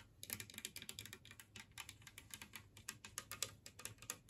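Long nails tap and scratch across the surface and raised edges of a large, flat, green glazed ceramic plate shaped like a Christmas tree, resting empty on a wooden table. The result is a quiet, rapid patter of bright, sharp clicks with almost no ring, mixed with brief scratchy strokes.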